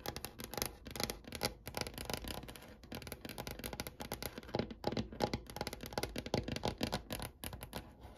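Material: Wood.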